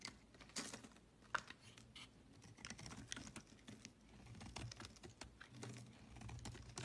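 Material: Soap.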